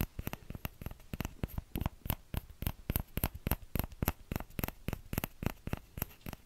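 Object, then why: Small plastic ladle. Fingertips tap the hollow bowl of a small orange plastic ladle in a quick, uneven series of about 28 soft, dull taps. Each tap is short and low, with almost no ring, against a quiet background.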